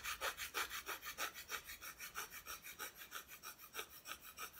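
Long painted nails scratch back and forth across the unpainted back of a solid, flat, thin plywood cut-out Christmas decoration held at an angle. A steady, rapid series of dry, bright scratching strokes, about three per second, is heard with almost no low end.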